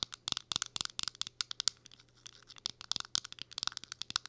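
Long acrylic nails tap and scratch a small round powder or blush compact that has a clear plastic window lid and a silver metal-look rim. The result is a quick, irregular run of sharp, bright plastic clicks, each dying away almost instantly, with a softer scratchy patch in the middle.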